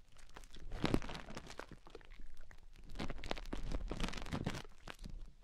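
Long painted fingernails dig into and scratch inside both ear canals of soft white silicone rubber ear shapes mounted on either side of a binaural microphone. The result is a continuous run of dry, crunchy crinkling and scraping rubs that swell and fade, each one short with no ring, and heaviest in the low end.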